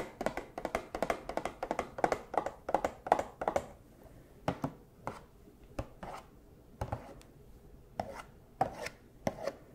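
A small cardboard Funko Pop box with a plastic window and a figure inside is held up and tapped with costume paw claws. A quick, dense run of short, dry, hollow taps with a mid-range knock gives way to slower, sparser taps separated by quiet gaps.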